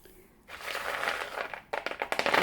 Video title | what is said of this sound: réussissez vos croquettes en un claquement de doigts 🤞. recette simple et efficace 😋😋 un bijou | pour être bien croustillante là ... vous suivez le bruit